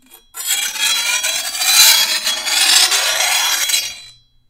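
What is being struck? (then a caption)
Steel machete blade and hand file. A hand-held steel file is rasped along the edge of a long, thin, solid steel machete blade held over a wooden table. It makes one continuous bright, hissing scrape, almost entirely in the upper range with no low end, that swells and fades over about four seconds.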